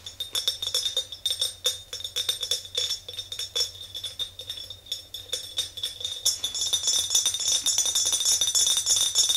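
Long nails tap an empty, clear glass mason jar mug with a handle, held by its handle. A rapid, uneven series of bright, high-pitched glass clinks with very short ring, growing denser and louder toward the end.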